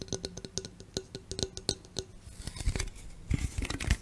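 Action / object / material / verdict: tap / aluminum drink can / aluminum / none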